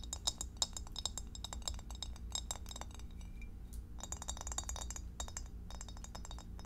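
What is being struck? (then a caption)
Glass divided food container. Long acrylic French-tip nails rapidly tap and click on the walls and bottom of a clear, empty, hollow rectangular glass meal-prep dish, about 20 cm, with a center divider and no lid, held up in both hands. The result is a quick run of bright, short glassy clinks that stop almost instantly, over a steady low hum.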